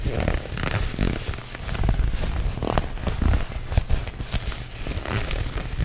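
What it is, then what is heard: Leather jacket, scratched and gripped. Fingertips and short nails grip and scratch the lapel and front of a worn black leather jacket, a soft, flexible material. The sound is a steady, close, low-heavy rustle of dull crackles and scrapes, with brief brighter scratches over a deep rumbling handling noise.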